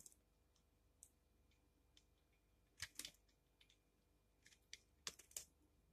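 A utility knife blade repeatedly scrapes and cuts shavings off the face of a solid, partly carved pink bar of painted soap held in the hand. About ten short, crisp, bright scraping and crackling strokes come through, some in quick pairs, with almost no low end and no ring over a quiet background.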